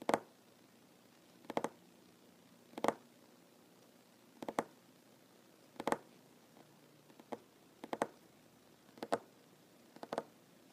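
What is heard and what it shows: Short fingernails of one hand tap on a large, solid wooden tabletop while the other hand is held still in the air. Quiet, dry clusters of two or three quick clicky taps centered around 684 Hz come roughly every second or so, each dying out almost instantly with near-silence between them.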